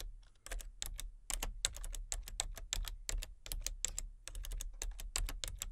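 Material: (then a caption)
Plastic. Fingertips with long nails tap the keys of a full-size, hollow-bodied plastic computer keyboard with color-changing backlit keys, one hand on the letter keys and one on the number pad. The result is a steady run of quick, bright plastic clicks and clacks that stop sharply, over a faint low hum.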